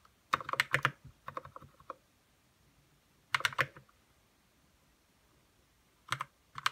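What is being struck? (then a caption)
Plastic mechanical keyboard with plastic keycaps. Fingertips type in quick, uneven bursts on a white RK61 60% mechanical keyboard with plastic keycaps, lubed red switches and a hollow plastic case. The short, dry clacks are bright, with little low end, and each dies away almost instantly. Three flurries of keystrokes are separated by quiet pauses.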